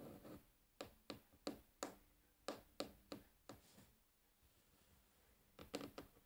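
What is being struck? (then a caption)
Wooden tabletop tapped with fingernails. Long polished nails and fingertips tap and scratch on a light, solid wooden tabletop. A soft scratch opens, then twelve short, crisp taps follow in uneven groups, with a quieter scratchy stretch before a final cluster. Each tap dies away almost instantly, with a slight bright click on top.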